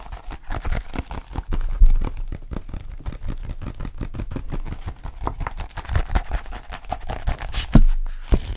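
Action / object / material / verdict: tap / glossy-covered paperback book / paper / none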